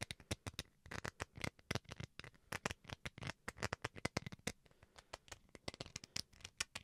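Fingernails scratch the bowl and handle of a small, solid white plastic rice paddle. A rapid, uneven series of short, dry scratching taps follows, each bright and crisp with almost no ring, over a quiet background.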